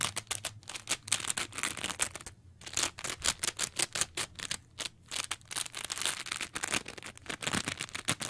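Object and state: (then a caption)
Foam sponge being scratched. A mint-colored soft foam sponge is squeezed and scratched with long nails, giving a rapid run of dry, bright scratching and crackling bursts. Brief pauses interrupt the run near 2.5 and 5 seconds. The sound is high and hissy, with very little low end and almost no ring after each stroke.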